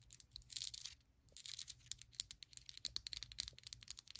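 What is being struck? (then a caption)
Ribbed ceramic candle jar filled with wax. Long pointed acrylic nails tap and scratch the ribbed outside wall of a small white ceramic candle vessel filled with solid wax, held in the hand. Quick, bright, dry clicks mix with brief scratchy rasps and no ring. They come in a fast, uneven stream, with a short pause near the one-second mark.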